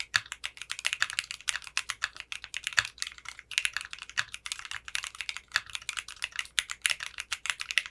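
A compact 60% mechanical keyboard with clear pink polycarbonate keycaps and a translucent case is typed on continuously with fingertips. The result is a fast, steady stream of short, bright, clacky keystrokes with almost no low end, each click dying away almost instantly.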